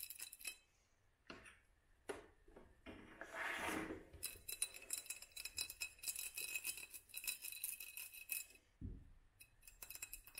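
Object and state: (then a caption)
Glass jar tapped with nails. Long nails tap and rub a small hollow glass mason jar held up in a black studded sleeve, moving over both the glass and the sleeve. Many quick, bright clinks and ticks ring out, with a softer scraping swell early on and a brief low thump near the end.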